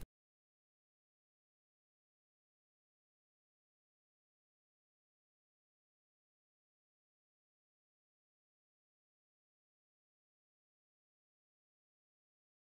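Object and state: Nothing is struck.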